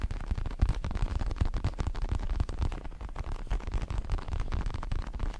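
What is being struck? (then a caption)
Padded synthetic leather boxing glove. Fingertips tap and scratch the red leatherette surface of a large, padded, red and black Everlast synthetic leather boxing glove. The result is a steady, dense run of soft, muffled low thumps and brushing scratches, each tap dying away almost at once.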